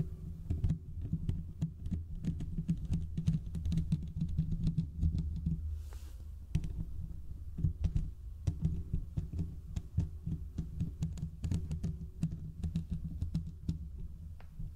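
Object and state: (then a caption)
Metal mesh microphone grille being scratched. Fingertips and short nails of both hands scratch the hollow domed steel mesh grille of a large desktop condenser microphone. The result is a dense stream of muffled, bassy scratching and thumping with quick crackly ticks. It pauses briefly around six seconds, then resumes just as steadily.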